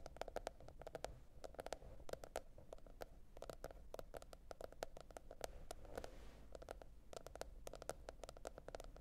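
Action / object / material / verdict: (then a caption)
tap / cardboard notebook cover / cardboard / none. Long nails tap rapidly on the printed hard cardboard cover of a notebook lying flat. Quiet, dry clicks come in quick, uneven bursts, each dying away almost at once with a slight hollow tone around 550 Hz over a low background hum.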